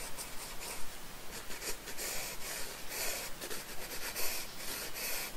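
A wooden pencil scratches and shades a small cake slice drawing on a paper sketchbook page resting on a wooden desk. Soft, bright, gritty scratching comes in irregular bursts at about two strokes per second, over a steady low background hum.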